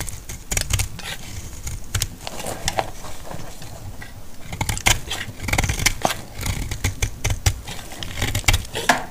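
A solid, dry yellow bar of soap held in the palm is sliced into flakes with a metal blade. It makes a run of crisp, bright shaving and scraping strokes, each ending quickly, over a low, muffled rumble.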